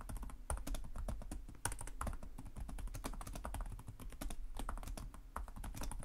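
Fingertips of both hands type rapidly and continuously on a black laptop's low-profile plastic chiclet keys, its hollow body beneath them. A steady stream of quick, dry key taps with bright clicks runs over a low thudding body, each tap dying away almost at once.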